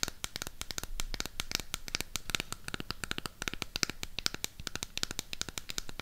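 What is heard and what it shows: Long pink nails rapidly tap and scratch the back surface and edges of a burgundy Harry Potter cardboard eyeshadow palette. The result is a dense run of dry, sharp clicks with bright, high scratchy crackle and almost no ring.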